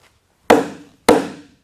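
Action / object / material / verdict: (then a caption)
strike / timber log, struck with an axe / wood / solid. An axe strikes an old-growth timber log twice on its end grain, each blow a sharp, bright knock with a short ring around a midrange tone that fades within about half a second. The wood rings solid, marking this section of the log as sound.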